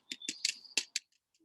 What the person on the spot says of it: these sound quite flat they don't sound like they're rolling around in there particularly